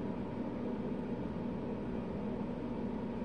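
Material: Nothing is struck.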